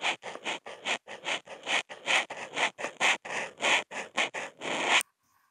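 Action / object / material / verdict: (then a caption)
scrape / marker tip on a sheet of Kent paper / paper / none. A Posca marker tip is scratched across a flat white sheet of Kent paper in fast zigzag strokes, picked up by a contact mic on the marker. About 16 short, dry, bright scratching rasps follow one another with brief gaps and almost no low end, ending in silence.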